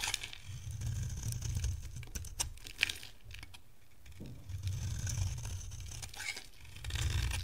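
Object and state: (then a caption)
Dry soap bar being scraped. A yellow bar of dry soap, held in the hand, is shaved and scraped with a metal utility-knife blade, leaving a grooved surface. Quiet, dense crackling and bright scratchy ticks run over low rumbling bursts, with a brief lull in the middle before the scraping swells again.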